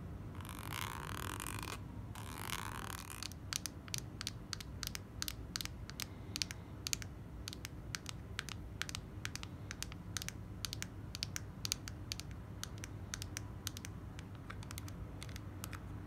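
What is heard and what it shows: A soft plastic squeeze tube of clay mask is held and turned while long nails scratch and tap it, including at the cap end. Two bright, hissy scratching passes open the clip, followed by a long run of quick, sharp clicky taps over a low steady hum.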